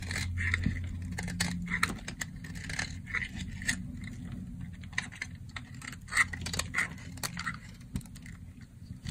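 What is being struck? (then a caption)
Bar of soap cut with a blade. A solid, dry, cream-colored soap bar held in the hand is cut into crumbly chunks with a box-cutter blade. Crisp, dry scraping and crackling cuts come in quick bursts, with bright clicks as pieces break away over a steady low hum.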